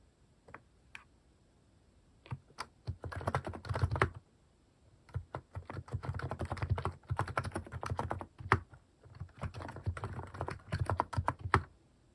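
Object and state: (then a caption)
Mechanical keyboard with plastic keycaps being typed on. Fingertips type on a Hanmumu plastic mechanical keyboard fitted with cat-shaped plastic keycaps. A few scattered key presses lead into rapid bursts of typing, heard as dense, low, muffled clacks separated by short pauses.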